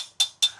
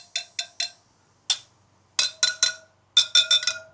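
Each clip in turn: First: loose motorcycle wheel spoke. Second: tight motorcycle wheel spoke.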